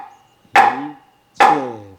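A mallet strikes a heavy, solid wooden temple signal board of about 5 to 6 kilograms, the board used to announce meals. Two separate knocks are heard, each a sharp, loud woody clack with a resonant tone ringing briefly before fading. Even light strikes produce a very loud sound.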